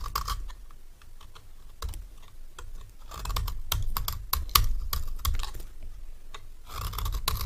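A solid rectangular dry cream bar soap, held in the hand, is scraped with a metal knife blade. It makes a series of short, dry, crisp scratching strokes with bright edges over a low rumble. The strokes come in irregular bursts and grow denser and louder in the second half.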